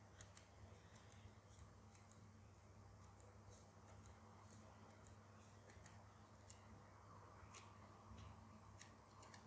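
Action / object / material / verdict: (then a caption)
tap / small metal zipper slider and pull tab on doll trousers / metal / none. A tiny metal zipper slider and pull tab on the fly of a doll's dark trousers is tapped and flicked with a fingertip and nail, then pinched and wiggled. It makes faint, sharp, high metallic ticks and clicks scattered through the clip over a steady low hum.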